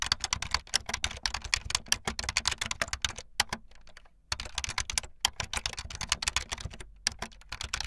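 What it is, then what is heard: Plastic membrane keyboard. Fast typing on a full-size backlit plastic Bluetooth membrane keyboard with white and blue plastic keycaps and a hollow plastic body, the keys pressed with fingertips and the tips of long painted nails. A rapid stream of short, bright, clacky key taps with little low end runs throughout, broken by a brief near-silent pause just before the midpoint before the typing resumes.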